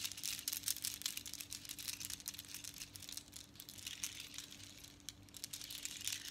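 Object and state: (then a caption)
Seashell bead necklace. Long strands of small hollow seashells strung with small colored beads, worn around the neck and lifted in the hand, are handled with long nails and fingertips that rattle and shake the shells so they clack together. The result is a dense run of quick, bright, crisp clicks and rattles that swell and ease over a faint steady low hum.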